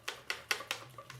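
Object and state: Box with a paper bill inside.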